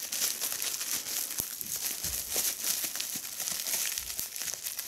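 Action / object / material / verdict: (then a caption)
scrape / plastic bubble wrap / plastic / none. A small, hollow piece of clear, air-filled plastic bubble wrap is held in both hands while the bubbles are squeezed and popped with fingertips and long red nails. The result is a continuous, bright crinkling and crackling, dotted with short, sharp pops that fade almost instantly.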